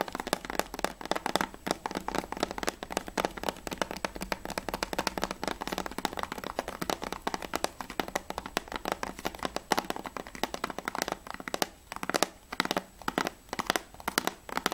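Fingernails tap rapidly on the plastic sleeve of the back cover of a Battlefield 3 PS3 plastic game case. The result is a dense stream of dry, sharp clicks with no ring, centered in the mid range with bright edges. Toward the end the tapping breaks into quicker, separated bursts.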